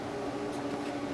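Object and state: Nothing is struck.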